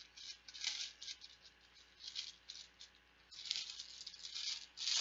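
Plastic Bananagrams letter tiles are shaken and rattled together. The result is a dense, bright rattling clatter that comes in irregular bursts and fades between them.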